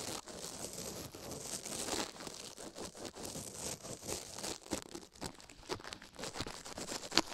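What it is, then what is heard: Silicone ear microphone being brushed. A toothbrush scrubs and pokes a silicone ear microphone while a glove rests still on the plate beside it. Dense, bright scratching and crinkling rasps close to the mic come in quick uneven bursts, with one sharper, louder scrape near the end.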